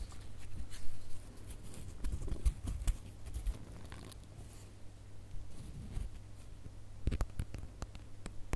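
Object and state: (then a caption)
Glitter plastic star ornament. A gold glitter plastic star ornament with a bow is held up while fingernails scratch along its raised star outlines. Soft, dry scratching and tapping sounds come in uneven bursts over a low steady hum, with a cluster of sharper clicks near the end.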